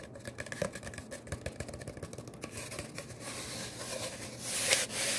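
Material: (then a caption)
Cardboard. A long, empty brown cardboard paper towel tube, hollow and open at the end, is held in one hand while fingertips tap and rub along its length. Quick, dry taps with a faint hollow tone come first, then shift into a steady, hissy scratching and rubbing that grows louder toward the end.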